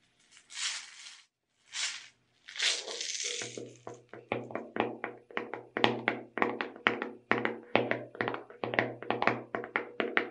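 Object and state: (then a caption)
Plastic tub of sugar sprinkles. Long red nails tap on the side and purple-labeled lid of a small clear plastic tub full of sugar sprinkles. A few soft, hissy bursts come first, then a steady run of quick, crisp taps with a short hollow ring under each one.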